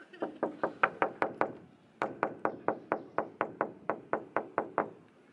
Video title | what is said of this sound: Intip Megahnya Interior Masjid 99 Kubah Makassar | ternyata ini bukan tembok guys